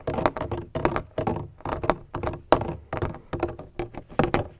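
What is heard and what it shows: Fingertips tap and knock on a large black, donut-shaped hollow plastic bottle with a textured surface and a red cap. They make quick, dull, thunky hits with a hollow tone around 625 Hz. The hits come in short irregular clusters and die away almost at once.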